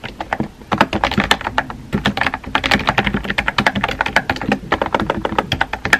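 Fingertips with painted nails rapidly tap the round white-and-pink typewriter-style keycaps of a compact, hollow-bodied pink plastic mechanical keyboard resting on a desk. The result is a steady stream of short, crisp clacks with bright edges and a faint hollow body, each dying away almost instantly.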